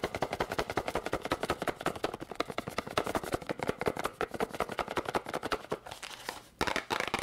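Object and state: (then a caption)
Cardboard candy box tapped with fingernails. A small, hollow yellow and red cardboard candy box is tapped rapidly with long pink nails. It makes a fast, uneven stream of dry, clicky taps with little ring, briefly pausing near the end before resuming.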